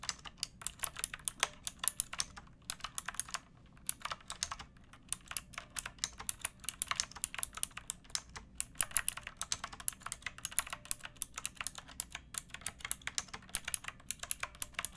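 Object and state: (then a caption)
Mechanical keyboard with round plastic keycaps. Fingertips with long painted nails type on a pink plastic typewriter-style mechanical keyboard with round plastic keycaps. The result is a steady stream of crisp, bright, clicky keystrokes with almost no ring, broken only by a brief pause near the three-second mark.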